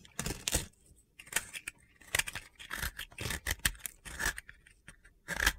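A utility blade scrapes a small, solid, pale blue remaining piece of dry soap held in the hand, shaving it into crumbs. Short, dry, crunchy scraping bursts come in an irregular rhythm, with bright gritty texture and almost no ring between strokes.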